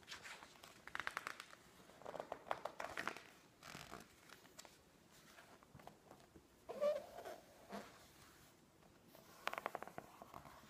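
Long nails scratch and rub across the pages of a thick, open glossy-paper magazine, and the pages are flipped quickly. Soft, crisp scratching and papery rustles come in short bursts, with a louder swishing page turn partway through and quieter rubbing between.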